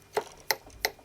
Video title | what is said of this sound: Sideshow 1/6 probe Droid review | You can hear the tapping coming off the bar there. It's actually metal